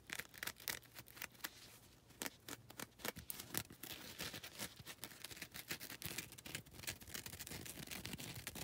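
Long red nails scratch across a foam nail buffer block, working both its grey grit face and its lilac coarse face. The result is a steady run of quick, dry, bright scraping strokes. Each stroke is short and crisp with almost no ring afterward.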